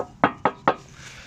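Three taps on the steel sill of a 1977 Morris Marina 1.3 Deluxe estate give short, hollow knocks with a midrange ring that dies away quickly. The hollow sound marks a good, original sill with no filler.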